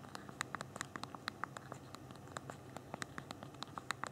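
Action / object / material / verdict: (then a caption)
tap / handheld phone keyboard with small plastic keys / plastic / none. Thumbs type on the small plastic keys of a handheld BlackBerry phone's physical keyboard, producing 27 quick, dry clicks in an uneven rhythm over about four seconds. Each tap is a short, bright tick with almost no ring, set over a faint low hum.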